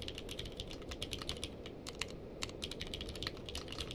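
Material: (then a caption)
Plastic. Fingertips of both hands type continuously on a navy/purple-case mechanical keyboard with plastic keycaps. The result is a steady stream of quick, bright clacks that ring briefly, centered around 2.8 kHz, over a constant low rumble.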